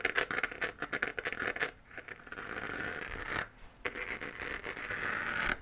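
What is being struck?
3D-printed plastic moon lamp.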